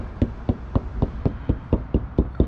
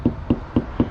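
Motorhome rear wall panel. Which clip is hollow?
The first.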